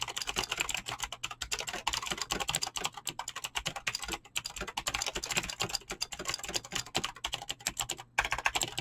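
Fingertips with short painted nails type fast on a full-size mechanical keyboard with Razer green clicky switches and pink-blue PBT plastic keycaps, resting on a desk. A rapid, steady stream of sharp, bright clicks and clacks runs throughout, each keystroke dying away almost instantly. There is little low-end weight and only a couple of brief pauses.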